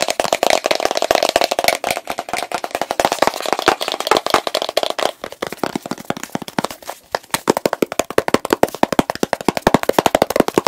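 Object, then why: Plastic jar of petroleum jelly with plastic lid. Fingertips tap quickly on the blue plastic lid and sides of a medium plastic petroleum jelly jar filled with pale jelly. The result is a fast, steady stream of crisp, dry plastic clicks with a hollow midrange tone, very little bass, and almost no ring. The tapping eases briefly in the middle before picking up again.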